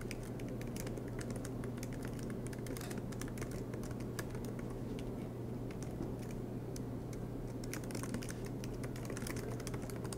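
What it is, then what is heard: Plastic laptop keyboard keys. Both hands type steadily with their fingertips on the black plastic low-profile keys of a silver aluminum MacBook Pro resting on a green desk mat, making rapid, bright key clicks. The taps sit over a steady low hum.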